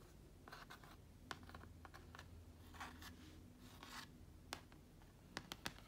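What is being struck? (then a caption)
Plastic laptop lid covered in vinyl stickers. A hand with long dark nails and a large silver ring taps and scratches across a closed black laptop lid, a thin hollow plastic shell covered in vinyl stickers (deftones, TOMS, an Apple logo, a heartbeat, a felt shamrock), resting on carpet. Soft, bright scratching and rustling runs over a low steady hum, broken by quick dry clicky taps with almost no ring, clustered near the end.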